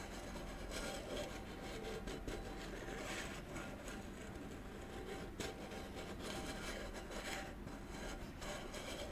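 Fingertips and short nails rub and scratch along the side and rim of a small, hollow, round gold metal candle tin with a lid, held in both hands. The result is a steady, continuous scratchy rasp with a faint hollow tone and brighter swishes rising and falling throughout.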